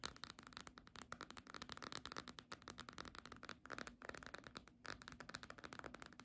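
Long fingernails tap rapidly on the front cover and edge of a small green cloth-bound hardcover book. The result is a quiet, dense stream of short, dry, bright clicks and light scratches with almost no ring, rising and falling in bursts with a brief pause near the end.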